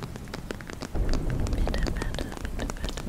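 Long nails tap and scratch the crinkly surface of a medium-size transparent PVC makeup pouch with a beige checkered print, held against the chest. Rapid, irregular clicks and crinkles patter like rain over a low, dull rumble. The handling grows louder after the first second.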